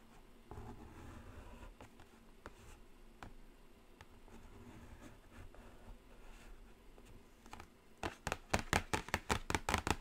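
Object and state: Cardboard palette box tapped and scratched with nails.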